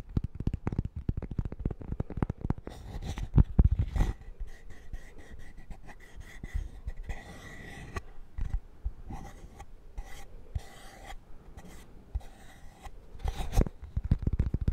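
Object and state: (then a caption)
Cork-backed coaster. Fingernails tap and scratch the cork surface of a thin, flat square cork-backed coaster held in the hand. Rapid, dull low tapping starts and ends the clip, with quieter scratchy rubbing in between.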